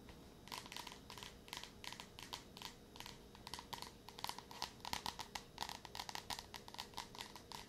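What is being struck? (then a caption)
Paperback book with card cover. Long nails tap rapidly across the glossy card cover of a yellow Wayside School paperback, a solid paper book, close to the mic. The quiet taps come as quick, dry clicks with a bright, crisp edge and a faint papery crinkle, each dying away almost instantly.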